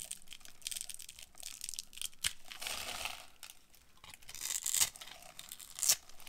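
A solid rectangular bar of dried green soap with a grid-scored surface, held in a hand with long nails, is carved with a metal utility-knife blade that shaves off crunchy crumbs. Bright, dry scraping and crinkly tearing sounds come in bursts, with a few sharper cracks as pieces break away.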